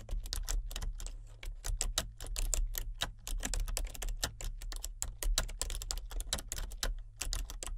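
A solid, full-size plastic membrane computer keyboard with a colour-changing backlight is typed on continuously, its keys pressed by the fingertips of both hands. A rapid, dense stream of soft, bright clicks and taps plays over a steady low hum.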